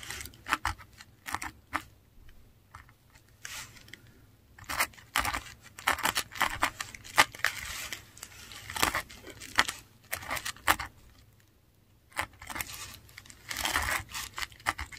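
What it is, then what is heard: Paper sheet scratched by a metal pen nib. A metal dip pen nib writes on a flat sheet of textured Korean paper, scratching it in short strokes. The result is a run of dry, bright scratching bursts with quiet pauses between them and very little low end.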